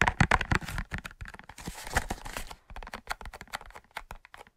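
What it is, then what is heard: Cardboard matchbox. A large, closed, hollow cardboard matchbox with a red-orange label is tapped and scratched with fingertips and short nails. About two dozen quick, dry, irregular taps mix with brief scratchy, crinkling rasps that stop almost instantly, with a hollow low thump under the brighter scraping.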